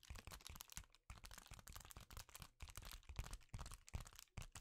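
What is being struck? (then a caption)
Foil bubble insulation sheet. A sheet of reflective foil bubble insulation, held in both hands, is tapped and scratched with the fingertips. It gives quick, irregular bursts of dry crinkling crackle and soft low thumps, with brief pauses between groups of taps.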